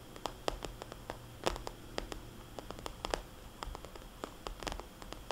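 Long painted fingernails tap quickly on a small red polka-dot cosmetics bag made of glossy vinyl. They make a string of sharp, bright clicks with a soft, hollow body around 520 Hz. Each click dies away almost at once over a faint, steady background hiss.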